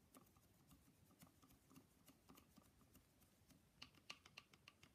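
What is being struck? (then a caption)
Painted wooden nesting doll. Fingers tap on a painted wooden Russian nesting doll in a quick, uneven series of light, short ticking taps with almost no ring. The taps are soft and bright, growing a little louder and sharper near the end.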